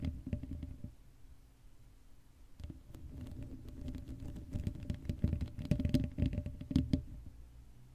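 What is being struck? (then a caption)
Metal mesh microphone grille. The tips of long acrylic nails scratch the sides of the hollow black metal mesh dome grille of a Blue Yeti microphone used without a cover. The result is irregular bursts of dull, low scratching and rubbing with a faint low hum underneath. The sound eases off briefly in the middle, then grows denser and louder toward the end.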